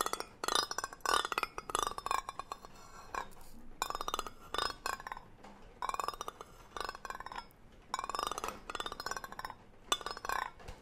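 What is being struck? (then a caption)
Metal tin can with lid. A hollow green cylindrical metal tin with a gold lid, held close, has its lid scratched and tapped with a brush-like tool. Bursts of bright, rustling scratches alternate with light metallic clinks, and short tonal rings sweep around a mid-range band. The sound is quiet and close, with little low end.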